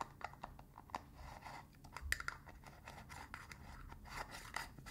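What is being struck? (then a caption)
Small metal tin with metal lid. Fingers scratch and tap the rim of the blue metal lid and the body of a small cylindrical got2b hair wax tin held in one hand. The result is a quiet, continuous stream of dry scratching with quick tapping clicks and bright metallic ticks that stop without ringing.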